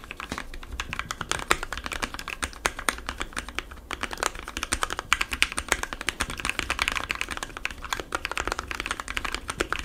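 Fingertips of both hands type rapidly on a compact 60% mechanical keyboard with white, blue and yellow plastic keycaps, lubed Gateron switches and foam inside the case. The result is a steady, dense stream of short, crisp clacks that stop almost at once, bright and centered in the upper mids, with little low-end thump.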